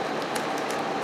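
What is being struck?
Nothing is struck.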